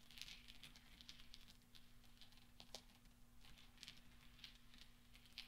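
Small solid steel pachinko balls on black velvet are gently clinked and rolled with fingertips and nails, making quiet, bright metallic ticks and soft patter that die away almost instantly. A steady low hum runs underneath throughout.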